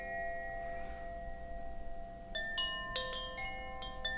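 A hollow bamboo Koshi wind chime dangles from a hand and sways gently, its clapper striking the inner metal rods. Soft, sustained bell-like tones ring from the start, then six clear strikes add bright, shimmering notes centered around 1.8 kHz over a faint low background hum.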